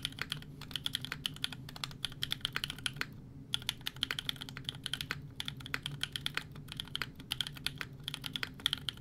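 A 60% mechanical keyboard with a Fjell case, FR4 plate, GMK Serika ABS keycaps and EMOGOGO tactile switches is typed on rapidly with the fingertips of both hands. The result is a steady stream of short, crisp, bright clacks centred around 3.4 kHz over a soft low thock, with a brief pause near the three-second mark.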